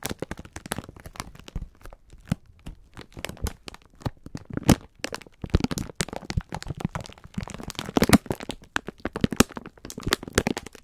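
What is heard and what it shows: Hands grip, squeeze and rub a full, clear plastic-film pack of sponge scourers. The result is a dense run of sharp, crinkly crackles and crunches with bright snaps over a soft low rustle, growing busier toward the end.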